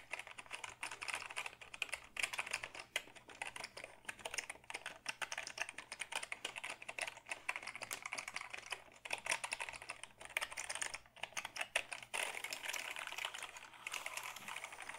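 A black Dell keyboard of hollow plastic is held tilted while fingertips type steadily on its keys. It makes a dense run of short, dry, bright plastic clicks that stop instantly, centered around 2.5 kHz, over a faint low hum.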